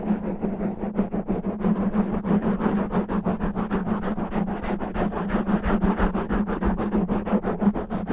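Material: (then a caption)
Foam. Fingertips and natural nails scratch fast and roughly over a black foam microphone windscreen, making a dense, rapid run of muffled scraping bursts at about three per second. The scratches are dull and low, with a steady droning tone near 200 Hz underneath and almost no bright content.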